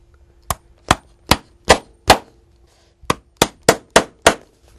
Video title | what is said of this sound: Les gestes du cordonnier bottier 13 | on entend bien à partir de ce moment-là que la pointe est sur de la ferraille, puisque ça sonne